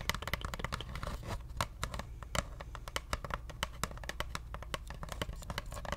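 Long nails scratch and tap a hollow brown cardboard paper-towel roll held horizontally, producing a rapid, irregular stream of dry clicks and bright scratchy ticks. Each tap dies away almost instantly over a low, hollow rumble beneath.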